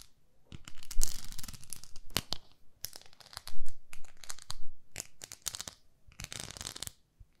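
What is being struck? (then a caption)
Plastic facial cleansing brush. Long nails scratch and tap a pink plastic facial cleansing brush, a pink plastic pad with a handle. The result is an irregular run of dry, crackly scratching bursts mixed with sharp, bright clicks. Short quiet gaps fall between the bursts.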